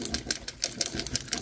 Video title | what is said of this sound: [Vlog]- Nous passons quelques jours ensemble: avancées coloriages et Haul.... | il y a une bille et du coup faut quand même remuer